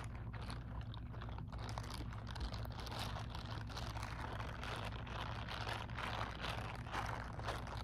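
Long acrylic nails tap rapidly on the textured back of the fingers of a grey silicone scrubbing glove held close, making quick, soft, crunchy clicks at an uneven pace. A steady low hum runs underneath throughout.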